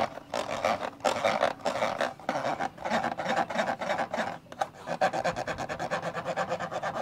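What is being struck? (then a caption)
Plastic camcorder lens hood. Fingers rub and scratch inside the black, hollow plastic lens hood of a camcorder. The result is a steady run of dry, rasping scratches with a midrange scrape centered around 540 Hz. Quicker, choppier strokes follow in the last couple of seconds.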